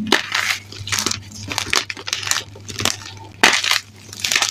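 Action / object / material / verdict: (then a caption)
scrape / gym chalk chunks and powder / magnesium carbonate / none. Bare, chalk-covered hands squeeze and crush handfuls of dry white and grey gym chalk (magnesium carbonate) chunks and powder in a dark bin, the brittle lumps crumbling apart. Each squeeze makes a bright, gritty crunching burst with a dry crackle, over a faint steady low hum.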